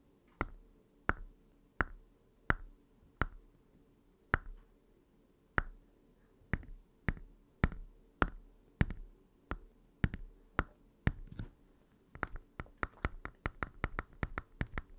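Short fingernails and fingertips tap on the screen bezel and upper half of an open red Game Boy Advance SP, a small hollow plastic handheld console, with one hand resting on the D-pad. About 32 quick, dry clicking taps sound with a hollow knock and die away almost instantly. They come at a slow, even pace and then speed up into a denser run near the end.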